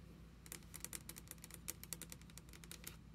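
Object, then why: Wooden table top tapped with fingernails. Long red acrylic nails tap rapidly on a flat, solid wooden desk top while both hands rest on it. About nineteen quick, bright, dry clicks come in an uneven patter with almost no ring, over a steady low hum.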